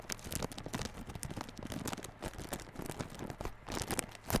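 Fingertips scratch and tap the clear plastic shrink wrap over the front face of a small yellow cardboard Realme Buds Classic earphone box. The result is a steady, quiet run of crinkly scratching and soft taps with bright, crackly edges, ending in a slightly louder burst.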